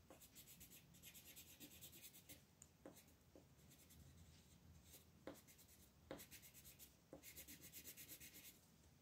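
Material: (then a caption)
Paper. A green wooden colored pencil is rubbed firmly across a flat, thin paper coloring book page on a table in repeated shading strokes. It makes quiet, rapid scratchy rasping in rhythmic bursts with a bright hiss, and a few sharper ticks mark where new strokes begin.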